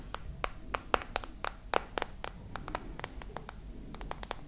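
Long nails tap about two dozen times on the glass screen and edges of a glass and metal smartphone, held horizontally with the screen on. Each tap is a short, sharp click with a bright top that dies away almost instantly, over a low, steady background hum.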